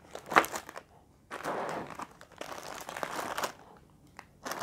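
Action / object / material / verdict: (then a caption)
tap / instant noodle pack in plastic film / plastic film / none. Both hands tap and scratch with fingertips and nails on a full, sealed plastic-film packet of Indomie Mi Goreng Sambal Matah instant noodles with a dry noodle brick inside. Bursts of crisp plastic crinkling and crackling alternate with sharp taps and quiet pauses, mostly in the upper-mid range with almost no low end.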